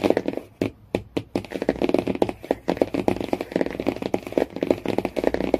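Fingernails tap quickly on the laminated cardboard cover of a hardcover Jungle Book, making a rapid run of dry, short clicks with a mid-range body around 340 Hz. A few brief pauses break the otherwise continuous, overlapping tapping, and each hit dies away almost instantly.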